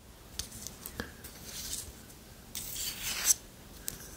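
Long nails scratch along the handle of a long, thin, solid wooden spoon, making dry, bright scraping strokes with a few short clicks. A louder scrape builds in the second half and ends in a sharp click. The sound is quiet and almost entirely high, with very little low end.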